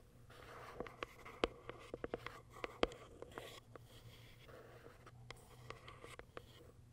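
Long acrylic nails tap and scratch the clear plastic top window of a small white Kiara Sky cardboard box. Sharp, dry clicks land at an irregular pace over soft scratching, with a faint low hum underneath. The taps stop short with no ring, and the whole sound stays quiet.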